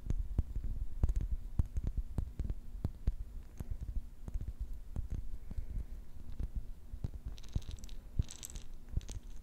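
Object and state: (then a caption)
Glass jar with metal lid, filled with plastic beads. Long nails tap steadily on the glass body and metal lid of a small, round, clear glass jar filled with pink plastic beads. The taps are short, dull and low, with almost no ring, and a few brighter clicks come near the end.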